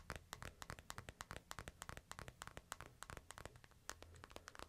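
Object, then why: Smartphone in a plastic case. Fingers tap and scratch the screen and case edges of a smartphone in a light plastic case, held in the hand. About 29 short, dry, bright clicks and ticks come in quick, uneven succession, with faint scratchy rustling and a low hum underneath. Each tap stops almost instantly, with no ring.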